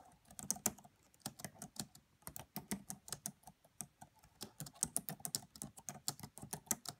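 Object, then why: Plastic laptop keyboard keys. Fingertips with long French-manicured nails tap the black plastic chiclet keys of a red laptop's hollow-bodied keyboard, using both hands. About 28 quick, dry clicks and taps come in irregular bursts with short pauses between them. Each one is bright and crisp, with a low body thump, and dies away almost instantly.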